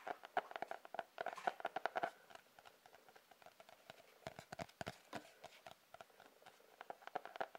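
A sketchbook with a cardboard cover is tapped with quick, light taps, giving dry, short clicks centered in the midrange with little low end. The taps come in irregular bursts, some faster and denser than others, against a quiet background.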